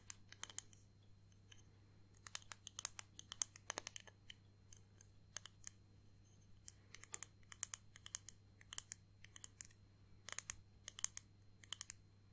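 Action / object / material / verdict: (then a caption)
tap / small flat acrylic disc ornament / acrylic plastic / none. Long painted nails tap a small, flat, solid clear acrylic (plastic) round disc ornament with pressed flowers and "Grandad" lettering, held in the hands. The result is quiet, sharp, dry, bright clicks in quick irregular bursts and pauses, each dying away at once, over a faint steady low hum.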